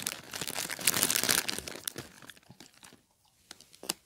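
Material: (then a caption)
Plastic. A small clear plastic bag partly filled with popcorn is held in both hands and squeezed with the fingertips, producing dense, bright crinkling and crackling for about two seconds. The sound then thins into scattered crackles, goes nearly quiet, and ends with a few sharp crinkles.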